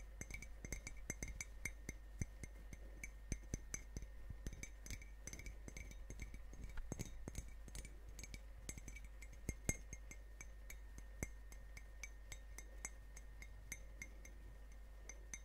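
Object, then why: Ceramic mug. A hollow ceramic coffee mug with a Grumpy dwarf print, held in both hands, is tapped and clinked with long fingernails and turned around as it goes. The result is a steady run of quick, quiet, bright clinks with very short ring and a faint tone near 2 kHz, over a constant low hum.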